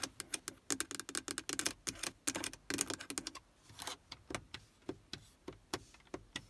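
Long acrylic nails tap fast on the black plastic stereo faceplate and hard plastic buttons of a Toyota Prius. Rapid, dry, bright clicks come in dense bursts, with a brief softer scratchy stretch near the middle. Each tap is crisp and dies away almost instantly.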